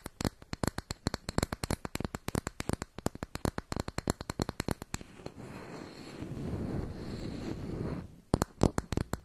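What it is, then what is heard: Makeup compact being scratched. A closed round makeup compact with a brown textured lid and gold rim is held above the mic while long nails tap and scratch across the lid. Rapid, sharp clicks fill the first five seconds, give way to a continuous low, grainy scratching until about 8 seconds, then quick tapping resumes.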